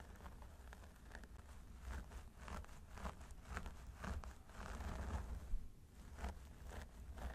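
Fingertips and short nails on both hands scratch and massage the scalp of a solid mannequin training head through long blonde synthetic hair. The result is a quiet, dense stream of soft rustling and crackling scratches in uneven bursts over a steady low rumble.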